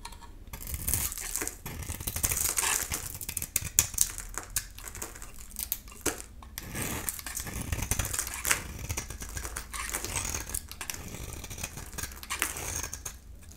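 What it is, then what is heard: Dry bar soap being cut. A solid bar of dry soap, painted silver with an embossed logo and a yellow interior, is held in the hand while a utility knife blade shaves and cuts its surface. The result is a dense, bright stream of crisp scraping and crackling cuts with quick, dry attacks and almost no ring, swelling and fading in short bursts.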